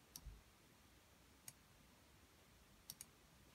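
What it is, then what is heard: Plastic mechanical keyboard. Fingertips type on a white RK61 60% mechanical keyboard with plastic keycaps, lubed red switches and a hollow plastic case. Four short, sharp, bright clicks sound, spaced apart and fading almost instantly, over a low, quiet background rumble.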